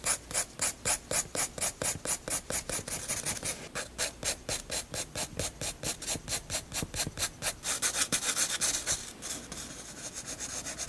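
A graphite pencil makes hatching and shading strokes across the flat white paper page of a spiral sketchbook. Quick, steady back-and-forth strokes, about two per second, give a bright, dry scratching rasp. The strokes grow softer toward the end and blur into a continuous shading hiss.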